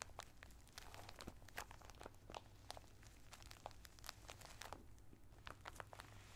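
Flat fingertips press and rub a sealed clear plastic bag full of colored tissue paper squares with a cardboard header, lying on a towel. It gives a dense run of quiet, bright crinkles and sharp crackles over a steady low hum.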